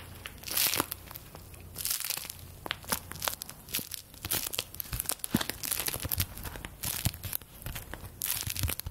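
A stack of thin paper play-money bills, held close to the microphone, is rubbed and crinkled with fingertips and long nails. The result is a steady stream of crisp, bright crinkles and rustles, broken by quick sharp taps and small tearing-like crackles over a soft low background.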